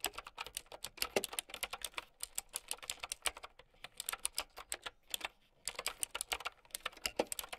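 Typing with long nails on a plastic mechanical keyboard with round keycaps gives a fast run of sharp, bright, clicky keystrokes with very short decay and almost no low end. The stream pauses briefly near the 2, 3.5 and 5.5 second marks before picking back up.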